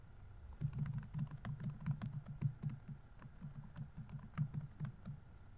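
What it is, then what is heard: Plastic laptop keyboard. Fingertips rapidly tap the plastic keys of a laptop keyboard on a grey laptop body while typing. The result is a quiet, steady stream of short, dull key taps with a low, thumpy body and faint bright clicks on top, each tap dying away almost instantly.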